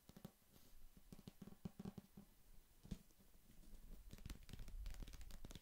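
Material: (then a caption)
Paper. Long fingernails tap and scratch the glossy printed paper cover of a small, solid paperback novel held up close to the mic. Quick, irregular, dull taps with a low, soft body come first, then a steadier, denser scratching rustle with a few bright clicks.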